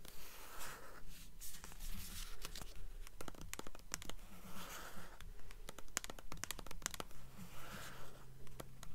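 Long nails scratch and tap a blue hardcover book with a paper dust jacket, first on the cover while it is held tilted, then on the spine after it is turned. Soft, rasping scratches swell and fade in a steady rhythm, broken by quick, sharp, dry taps that stop without ringing.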